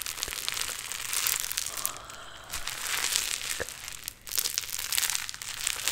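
A large pink mass of play foam, a foam bead modelling clay with a solid, beaded texture, is squeezed in both hands and then stretched upward. Dense, bright crackling and crinkling from the beads rises and falls in bursts, with almost no low end.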